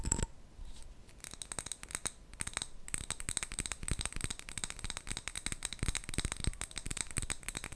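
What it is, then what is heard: Glass jar with metal lid. A small clear glass jar with a gold metal screw lid, filled with colourful wrapped sweets, is held in both hands and tapped with long nails. Rapid, sharp clicking taps mix with the rattle of the sweets shifting inside as the jar moves.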